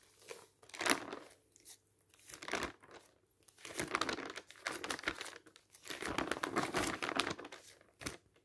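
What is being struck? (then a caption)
Glossy paper magazine. Fingertips lift and flip the pages of a thin, glossy printed paper magazine lying open on a stack of magazines on a table. Each page turn brings a bright, papery crinkle and rustle, with short crisp snaps between them and almost no low end. The page turns come in uneven bursts with quiet gaps between them.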